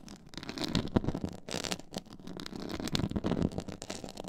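Long nails scratch across a black, stitched, pyramid-textured faux leather board. The result is a dense, crackly rasping with short scraping bursts that rise and fall in loudness, weighted toward the low-mid range with some bright edges.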